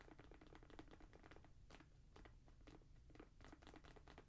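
Long nails tap and scratch the suede and mesh upper and the tongue logo of a grey Jordan Flight 45 high-top sneaker, hollow and empty and held in the hands. A quiet, steady run of quick, soft, dull taps mixes with brief papery scratches, each with a light hollow knock.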